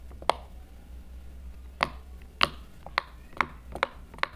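A yellow plastic marker, held in a hand with silver nails, taps and presses the hollow bubble domes of a hand-sized rainbow silicone heart-shaped pop-it fidget toy resting on a table, with squishy toys nearby left untouched. Seven short, sharp clicky taps sound at uneven intervals, each dying away almost at once over a faint low hum.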